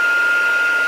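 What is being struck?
Nothing is struck.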